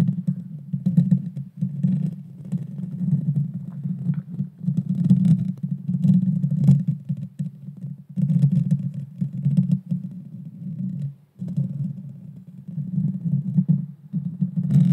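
Long painted fingernails of both hands scratch directly on the bare metal mesh grille of a Blue Yeti Nano, a small USB microphone with a hollow head. The result is a dense, close-up, low rumbling scrape with rapid textured scratching, sitting mostly below 200 Hz with faint brighter crackle. It comes in continuous bursts broken by short pauses near 1.5, 8 and 11 seconds.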